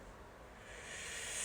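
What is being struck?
Nothing is struck.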